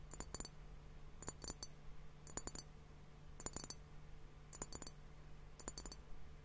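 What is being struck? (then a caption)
Glass hourglass-shaped liquid timer. Fingertips and nails tap on both bulbs of a hollow, clear glass hourglass-shaped liquid timer, partly filled with pink liquid and foam. Six quick bursts of bright, clicky taps, each cut off almost instantly with no ring, come at steady intervals. A faint low hum runs steadily underneath.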